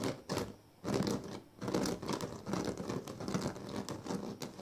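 Fingers scratch and rub the weave of a large, flat woven sleeping mat made of thin dyed reed strands. The result is a dry, crackly scratching and rustling in uneven bursts, with short pauses early on before it settles into steady, papery friction.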